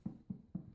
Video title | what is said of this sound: Irish Soda Bread | it makes a hollow sound when you um knock on it